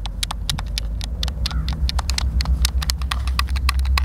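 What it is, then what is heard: Plastic game controller buttons clicking. A white, hand-sized, hollow plastic Xbox controller is held in both hands while fingertips and thumbs press and click its buttons. Rapid, irregular, bright plastic clicks tap out over a steady low hum.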